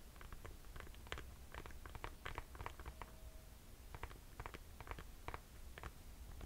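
Long nails tap and scratch the white rubber sole and green mesh upper of an empty Nike sneaker held up in the air. Many quick, soft, crisp ticks and brief scratches come in loose clusters over a quiet low hum, each fading almost instantly.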